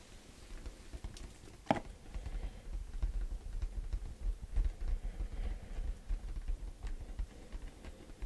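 A black printed cardboard Yeti microphone box, held up in both hands, is tapped rapidly with fingertips and nails. The result is a soft, irregular, low-heavy patter of dull taps, with one sharper, brighter click standing out early on.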